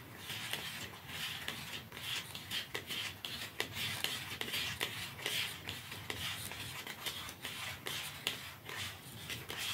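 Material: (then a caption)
Cardboard. A small, narrow, dark cardboard mascara box is held upright in both hands while fingertips and nails scratch and rub its sides. The result is a steady, dry, bright scratching and rasping, broken by irregular soft clicks with a high emphasis and little low end.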